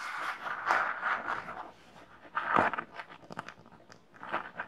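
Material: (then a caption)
Glitter fabric. Long nails scratch a small red glittery Minnie pouch with an embroidered M patch and a bow, both hands holding it. Uneven bursts of dry, crunchy scratching come in waves, strongest around the mid-range with some bright edges, with quieter, sparser scrapes between them.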